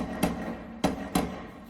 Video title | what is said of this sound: '72 Road Runner GTX: Proper Door Patch Repairing | hit on that inside button you can hear it sounds solid too